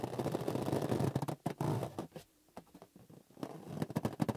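Hands squeeze and rub a small, hollow, green inflated latex rubber balloon with its knotless neck visible. Dense, low-pitched rubbery squeaks and scraping rubs fill the opening, fade to near silence at the midpoint with only faint brief touches, then return in a quicker flurry of squeaks at the end.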